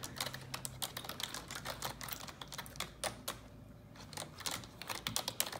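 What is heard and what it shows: Long neon-yellow nails type on a black plastic computer keyboard, producing a rapid stream of bright, sharp clicks with very short decay. The tapping briefly quiets just past the middle before picking up again, over a faint low hum.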